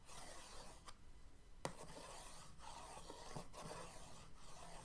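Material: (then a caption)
Cardboard. An orange paintbrush's end and handle are dragged across the lid of a printed cardboard paint-set box resting on a dark table. The result is a steady, quiet scratching and rubbing that comes and goes in strokes, with one sharper tick near the middle.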